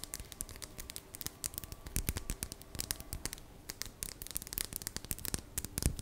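Long, dark-painted fingernails tap and scratch the surface of a small, solid, polished dark green crystal stone, palm-sized and held in both hands. The result is a quiet, rapid flurry of sharp, bright clicks mixed with dry, scratchy rustling that runs continuously throughout.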